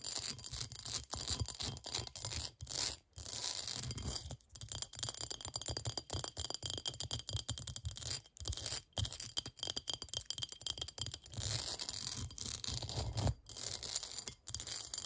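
Long nails scratch fast across the ridged outer surface of a clear, textured, hollow, empty cut-glass bowl. The result is a dense, continuous, bright, rasping scrape with a low rumble underneath, broken by brief pauses around 3, 4.5, 8.3 and 13.3 seconds.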